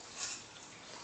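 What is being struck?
Nothing is struck.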